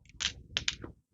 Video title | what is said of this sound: PROTEJA SEU DINHEIRO JÁ - PRATA: SEGURANÇA OU ILUSÃO? | a prata quando ela se choca ela faz um som que é só dela ó é ela faz um sonzinho assim muito característico das moedas de prata